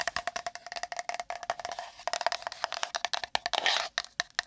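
A small, empty, hollow pink printed cardboard gift box (a Maneki Neko box), held beside the microphone, is tapped fast and roughly with long nails, giving some 28 quick, dry clicks with a hollow tone around 680 Hz and no low end. Near the end, a short burst of bright, hissy scratching from the nails across the cardboard breaks in before the tapping resumes.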